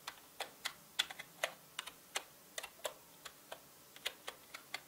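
Fingertips tap on a full-size black mechanical keyboard with plastic keycaps, producing a steady run of quick, bright clicks with uneven spacing. The strokes are short and dry with almost no low end, and they vary slightly in loudness from key to key.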